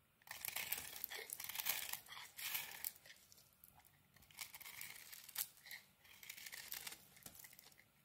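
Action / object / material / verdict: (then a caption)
scrape / bar of soap / soap / none. A metal blade shaves the edges of a solid, crumbly white soap bar with a pink coating. It makes dry, bright scraping and crumbling sounds in two long passages with brief pauses between strokes, with almost no low end.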